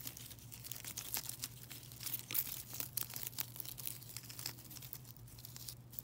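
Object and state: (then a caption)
Net bag of foil-wrapped chocolate coins. A plastic mesh bag full of silver foil-wrapped chocolate coins is squeezed, scratched and crinkled with long nails and fingertips. Quick, bright foil crackles and crunches follow one another continuously over a steady low hum.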